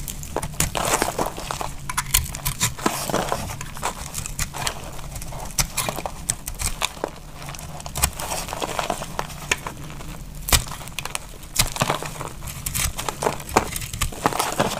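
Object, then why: Soap bar cut with a metal blade. A solid, dark brown bar of dry soap is held in the hand and cut into flakes with a metal utility knife blade. Dense, dry scraping and cutting strokes repeat throughout, each a short, crisp crackle with bright, high edges and almost no ring, over a faint low rumble.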